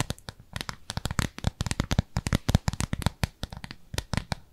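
Long nails rapidly scratch and tap across a thin, translucent, frosted plastic round lid about palm size, held in both hands. Dozens of quick, dry, crackling clicks and scrapes come in an uneven stream, each with a dull low thump and a bright edge. They stop instantly with no ring.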